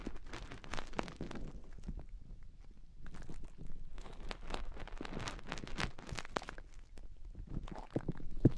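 Long painted nails rub and scratch inside the ear openings of soft white silicone microphone ears on both sides. The result is a steady stream of close, crackly scratching and rustling, with many short bright clicks over a muffled low rumble.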